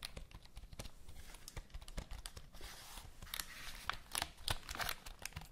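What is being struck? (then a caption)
Plastic computer keyboard keys. Long acrylic nails tap, click and scratch across the keys of a full-size black plastic HP computer keyboard held upright near the mic. Quick, irregular dry clicks and taps mix with bright, scratchy rustling as the nails drag over the keys. Each click stops short with no ring.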